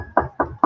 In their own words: you can hear that knock on wood literally